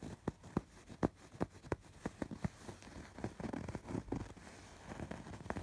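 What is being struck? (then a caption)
Embroidered fabric pillow. Fingertips and nails scratch the raised embroidered threads of a soft stuffed fabric pillow. Quiet, dry, short scratching strokes come in an irregular rhythm, spaced apart at first, then turning into denser rustling toward the end. The sound is muffled and mostly low, with almost no bright edge.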